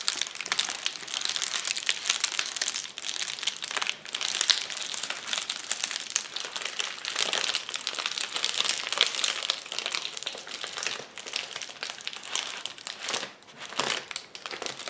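Knuckles and fingertips press, pop and scratch the bubbles of a flat, clear plastic bubble wrap sheet lying on a table. The result is a dense, steady crinkling and crackling with many short, sharp pops, bright and high-pitched with almost no low end, and brief dips in between.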